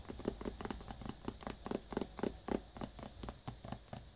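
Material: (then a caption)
Cardboard. Fingertips and short nails rapidly tap a small black cardboard wireless-earbuds box, shrink-wrapped in clear plastic and held in the hands, hollow and presumably full with product. About four irregular taps a second give short, dry knocks with a hollow low-mid body, crisp plastic-skinned clicks on top, and almost no ring.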